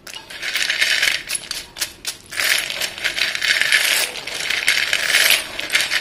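Both dusty hands scoop, drop and stir white chalk sticks in a dark bowl, so the sticks clatter together. A dense, bright clicking rattle with no low end runs almost throughout, thinning briefly near the two-second mark before swelling again.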